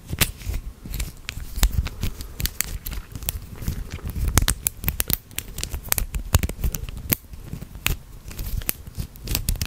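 A small hollow plastic click-link chain toy with red and blue segments is folded and twisted between the fingertips of both hands. Its links click and rattle in a steady stream of sharp, bright snaps that die away almost instantly over a soft low rustle.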